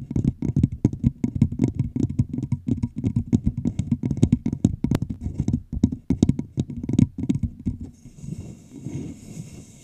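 Long pink nails rapidly tap and scratch the sides of a large, empty, hollow clear plastic bottle with a red label, held over the microphone and played with both hands. The dense, quick taps give hollow, low thuds that die away almost at once. In the last couple of seconds they ease into softer, brighter scratching.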